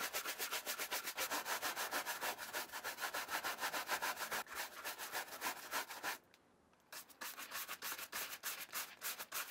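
A brown suede Nike vintage Challenger sneaker, held hollow in one hand, is dry-brushed back and forth with a wooden-handled horsehair shoe brush. The quick, steady rubbing strokes give a bright, scratchy swish at about three a second. The strokes pause briefly near the six-second mark, then resume.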